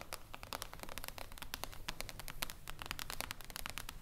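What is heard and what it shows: Fingertips and long acrylic nails of both hands tap quickly on a flat, glossy, reflective glass tabletop panel, a solid sheet resting on a wooden table. The result is a dense, steady stream of short, bright clicks with no ring, over a low background rumble.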